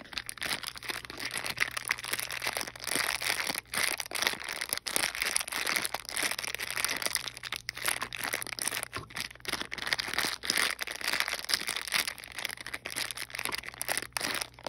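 A small sealed clear plastic bag holding teal and green plastic wall clips and a cardboard backing card is held in the hand and rubbed and squeezed with fingertips and long painted nails. The result is steady, bright crinkling and crackling throughout, made of dense short snaps with a faint low hum underneath.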